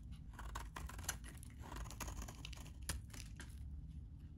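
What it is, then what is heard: Dry bar soap scraped into flakes. A metal utility blade scrapes the edges of a solid, dry white bar of soap held in the hand, shaving it into flakes. The sound is a steady run of dry, crisp scratching strokes with brief bright crackles over a low, muffled rumble.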